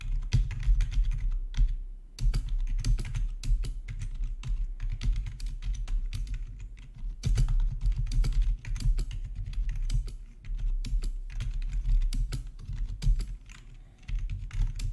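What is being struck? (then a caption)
Plastic gaming keyboard. Fingertips type steadily on a full-size black plastic RGB backlit gaming keyboard with a hollow housing, resting on a marble surface. Quick, dense key clacks run in bursts with a deep, hollow thud, pausing briefly near 2 seconds and again around 7 and 14 seconds.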